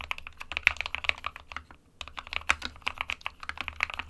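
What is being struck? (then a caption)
Plastic mechanical keyboard keys. Both hands type rapidly with their fingertips on an SK61 small 60% mechanical keyboard with a white plastic case and plastic keycaps, resting on a printed desk mat. Quick, bright plastic key taps clatter with almost no low end and no ring, pausing briefly just before the two-second mark before the typing resumes.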